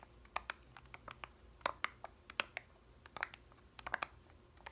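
Long red nails tap the blue foil lid of a small, full, sealed plastic yogurt cup. About twenty short, sharp, bright clicks land in an irregular rhythm, each dying away almost instantly against a quiet background.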